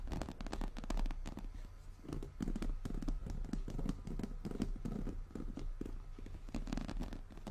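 Long nails of both hands scratch and tap rapidly over a medium, hollow, brown glossy croc-embossed leather handbag. The result is a dense stream of short, dull, low-heavy knocks with a hollow thump, mixed with sharp, bright scratchy clicks that die away almost instantly.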